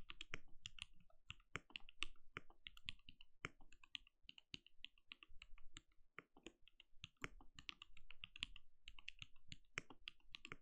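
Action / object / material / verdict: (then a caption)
tap / mechanical keyboard with plastic keycaps / plastic / none. Fingertips of both hands type rapid key taps on a compact backlit mechanical keyboard with plastic keycaps and a translucent glowing case. The result is a dense, steady run of short, dry clacks, each with a bright high click over a soft low thump that dies away almost instantly.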